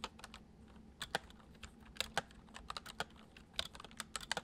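Fingertips of both hands type quickly on a full-size white plastic computer keyboard with hollow keys resting on a wooden desk. About eighteen short, bright clicks come in an uneven rhythm, each dying away almost at once, over a faint steady low hum.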